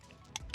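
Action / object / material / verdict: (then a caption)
shake / metal aerosol spray can with mixing ball / metal / none. A metal aerosol can of Blaster white lithium grease spray is shaken, rattling the mixing ball (a marble) inside. Two sharp, bright metallic clicks stand out clearly, with a fainter tick just before them, over a low background hum. This rattle is the normal sound of the mixing ball in the can.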